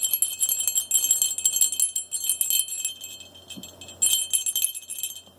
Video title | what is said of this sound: E027 -- The Red Barn | if I put the dangler in the Bell and then shake it gently that's the sound of this Bell